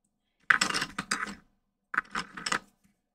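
A hand-held graphite pencil scratches and shades around the lips of a graphite portrait on a large flat sheet of white drawing paper. Two bursts of dry, papery scraping strokes are heard, each made of quick rasping passes with short pauses, then quiet.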